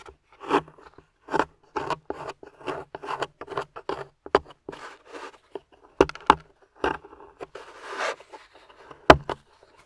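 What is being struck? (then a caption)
Plaster dig block scraped with a metal pick. A metal pick held by long-nailed fingers scrapes and chips at a grey solid plaster fossil dig block with a yellow fossil embedded in it. Short, dry scratching and chipping bursts come in an irregular series, with a few sharper clicks and a longer gritty scrape near the end.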